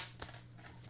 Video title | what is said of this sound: All About Guitar Picks - Live Guitar Lesson | Sounds just like glass. It's crazy. Crazy. But it's just man-made.